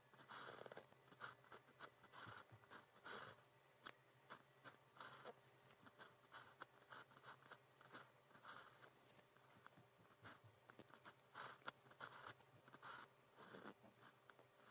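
A blue plastic pen's fine tip, held in fingers, writes on a flat sheet of cream practice paper with a red grid. Continuous, soft scratching strokes come in short bursts, with a bright, papery rasp and faint tones around 1.4 kHz. Quiet pauses fall between the strokes.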